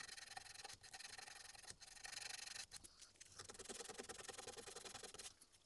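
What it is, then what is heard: Small carved wooden keychain being sanded. A small, solid, light-colored wooden relief-carved tengu mask keychain, held in the fingers, is rubbed with a small piece of sandpaper pinched between the fingertips. The result is a steady, dry, bright scratchy rasp of quick back-and-forth strokes with almost no low end, broken by a few brief pauses.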